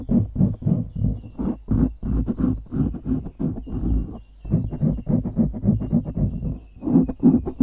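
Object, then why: Foam microphone windscreen. Fingertips scratch rapidly on the top and sides of a dark grey foam windscreen on a microphone. The result is a dense run of short, muffled, low scratchy rustles in quick bursts, with a brief pause near the middle.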